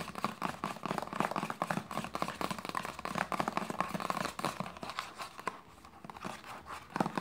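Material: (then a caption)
Plastic. Long nails rapidly tap and scratch a hollow white plastic lotion bottle with a red cap, making a dense run of quick, dry clicks with a crinkly, scratchy texture. The tapping thins to soft scratching for a moment near the end, then a few sharper taps return.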